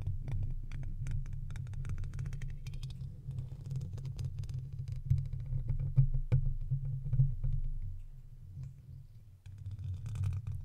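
A long thin wooden stick scratches and taps at the hollow metal mesh grille of a silver microphone. Dense, irregular clicks and scrapes ride over a heavy low rumble centered around 130 Hz, with sharper taps standing out near the middle and a brief lull before the scratching picks up again.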